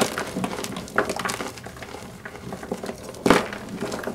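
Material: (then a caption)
Chalk. Pink rubber-gloved hands squeeze and crush several solid pink-white blocks of Ader gym chalk (magnesium carbonate) in a pink plastic bowl, pressing with fingertips and palms. A steady run of dry, gritty crunching and crackling follows, with sharper, louder snaps around the one-second mark and just past three seconds. The blocks crumble into chunks and powder.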